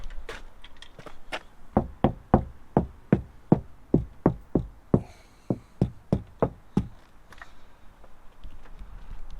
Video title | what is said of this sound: Fiat Ducato Audio Upgrade: From Basic to Epic Sound Quality! Installation in the Autotrail 68 | sounds loads more of a solid, duller sound rather than a tinny, clattery sound from the standard doors